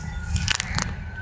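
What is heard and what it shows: A small stone held in the hand taps a stone samadhi (memorial tomb), the first of two side by side. Three short, dry clicks sound with almost no ring over a low background rumble, an ordinary solid-stone sound unlike the neighbouring samadhi.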